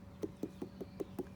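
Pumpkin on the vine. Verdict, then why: Ripe. A pumpkin still on the vine is knocked six times to check whether it is ready for harvest. Each knock gives a short, dull, hollow thud pitched around 370 Hz, over a faint steady hum. The hollow sound shows the pumpkin is ripe and has grown to capacity.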